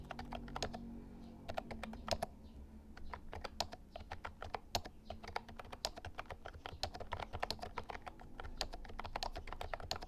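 Fingertips type continuously on a compact, hollow-bodied plastic mechanical keyboard with round white keycaps, an Actto Retro Pop Mini Bluetooth keyboard. Rapid, short, bright clicks with a hollow plastic clack around 650 Hz rise over a steady low rumble.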